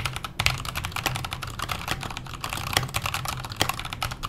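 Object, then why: Mechanical keyboard with metal case and plastic keycaps. Fingertips type steadily on a backlit KONO kira mechanical keyboard with Halo Clear switches, a metal case and plastic keycaps. Rapid keystrokes land as short, crisp clacks, each with a low thock underneath and a bright, snappy top that dies away almost instantly.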